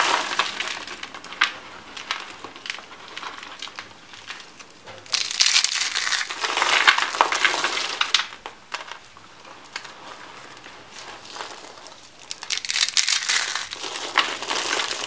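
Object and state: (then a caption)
Dry soap curls crushed. Dry cream-peach rolled soap curls and flakes are crushed between fingers with dark-painted nails, giving a dense stream of bright, dry crackling and crunching with no low end. The crunching comes in waves, swelling louder from about 5 to 8.5 seconds and again from 12 seconds to the end, with quieter, sparser crackles in between.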